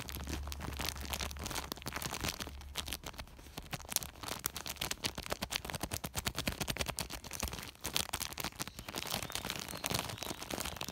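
Fingertips scratch and rub the woven surface of a large white woven polypropylene plastic sack. The result is a dense, fast run of dry, crackly scratching and rustling, bright and hissy, with many short sharp ticks that stop dead. A steady low hum sits underneath through the first half.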